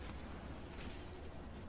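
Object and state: Nothing is struck.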